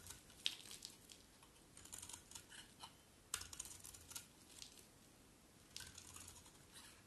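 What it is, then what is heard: Dry bar of soap being carved. A metal utility blade scrapes and carves long shavings from the edge of a hand-sized, solid bar of dry yellow soap held in the hand. Crisp, bright scraping strokes come in irregular bursts with sharp onsets and very little ring. Between strokes there is a faint crackle with almost no low end.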